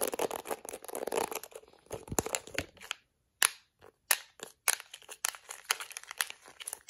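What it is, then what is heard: Plastic hairbrush. Acrylic nails and fingertips scratch the bristles of a plastic detangling hairbrush and tap its yellow rim. Dense, crackly, bright scratching fills the first three seconds, followed by a brief silence. Then come sharp, dry taps mixed with quicker scratching strokes.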